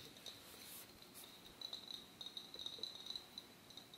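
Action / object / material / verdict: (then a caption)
tap / glass beverage bottle / glass / none. An Arizona green tea glass bottle is tapped at varying speed, producing a quiet, irregular run of light, bright clicks. Each tap carries a short, high glassy ring that fades almost at once.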